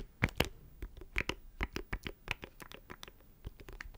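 Fingernails scratch a small, hollow black plastic audio interface close to the microphone, producing a quick, irregular series of sharp, dry scratching clicks. Each stroke has a bright, crisp edge over a hollow low body and stops almost instantly with no ring.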